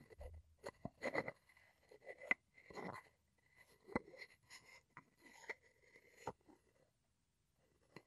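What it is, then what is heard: Wooden mortar and pestle. A wooden pestle scrapes and rubs inside a light, hollow, empty wooden mortar and along its rim. It makes quiet, dry scraping strokes and about ten short knocks at an uneven pace, with a faint ringing tone near 2 kHz and bright, papery texture. The sound fades to near silence at the end.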